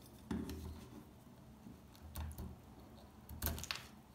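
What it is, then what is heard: Dry soap bar. A metal pick scrapes and chips at the surface of a solid, dry beige soap bar. Sharp scratchy clicks stand out from a quiet background, with a low thudding body under bright crackling edges. The loudest bursts come near the start, in the middle and toward the end.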